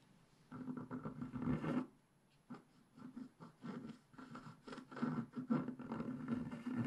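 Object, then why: Black-coated scratch-art paper scratched with a wooden stick. A wooden stick scratches the tail hair lines into a black-coated scratch-art paper page held flat by hand. The dry, raspy scratching comes in short strokes and longer bursts, separated by brief quiet pauses. It sits mostly in the low-mid range with little high content.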